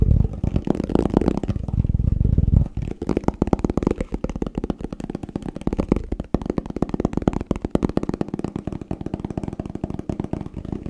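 A plastic tupperware food container is tapped quickly and aggressively. The first few seconds are a loud, dense, rumbling clatter, followed by rapid, dry, hollow taps with almost no ring. The sound sits mostly in the low range with little brightness.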